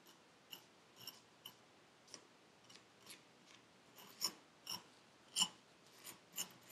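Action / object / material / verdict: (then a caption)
scrape / kinetic sand in a paper cup, scraped with a metal needle tool / sand / none. A metal needle tool scrapes the surface of purple kinetic sand packed into a paper cup, making a series of short, crisp, bright scratching strokes at an uneven pace. The quiet, dry strokes fade almost instantly and grow louder toward the end.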